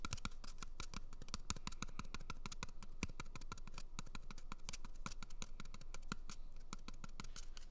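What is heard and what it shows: Fingernails scratch and tap the surface of an empty, hollow brown cardboard toilet paper tube held right at the microphone. Many dry, quick clicks and scrapes come in an irregular stream over a low, hollow rumble, each one dying away almost at once.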